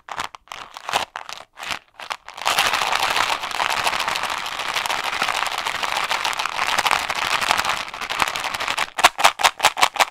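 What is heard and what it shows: A round, blue-rimmed plastic Ice Breakers container with mints inside is held in one hand close to a microphone and shaken. It starts with short, separate rattling bursts, then breaks into a steady, continuous bright clatter of mints against plastic. It ends with another string of quick, distinct shakes.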